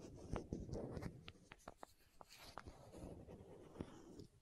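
A small, hollow green and white plastic contact lens case is held close to the microphone while long nails scratch it and twist its screw lids. Soft, dry scratching and rubbing are broken by quick, clicky taps and ticks at an irregular pace, with a low, close-up rumble underneath.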